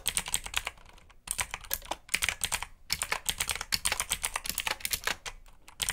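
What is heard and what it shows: Fingertips type on a black backlit mechanical keyboard with plastic keycaps. About 34 quick, bright clicking keystrokes come in bursts with short pauses, each dying away almost instantly.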